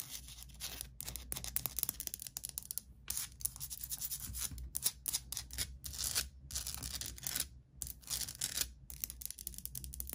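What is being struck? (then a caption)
Salt crystal lamp. Long nails scratch and tap across the uneven, rocky surface of a medium, solid, rough orange Himalayan salt rock lamp that is lit from inside. The sound is dry, bright, hissy scraping in quick bursts with brief silent gaps, over a faint steady low hum.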